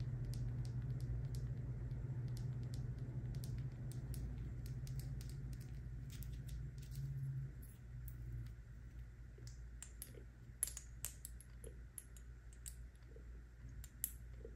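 Long nails tap on a small frosted glass serum bottle with a white dropper cap and liquid inside, held in the hand, striking both the glass and the cap. Quick, light, bright clicks repeat in an uneven patter over a steady low hum, with a few sharper taps standing out near the end.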